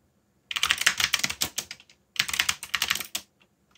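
Fingertips rapidly tap the keys of a backlit black plastic mechanical keyboard while typing. Two quick bursts of bright, short clicky keystrokes are separated by a brief pause, and each click dies away almost instantly.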